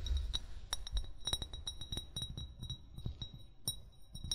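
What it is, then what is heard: Glass bottle. An upright, hollow amber (brown) glass bottle, its fill level unseen, is tapped with short fingernails and fingertips in a quick, uneven run of taps. Each tap gives a sharp, bright glassy clink over a soft low thud, and every tap dies away almost at once.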